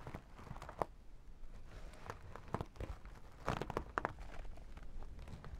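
A makeup pouch of sequins and holographic vinyl, held lengthwise, is worked with long nails that scratch the sequin strip along the top and tap the vinyl sides. Soft, crinkly scratching and rustling run throughout, broken by sharp taps and brief clicks that stand out near the middle and toward the end.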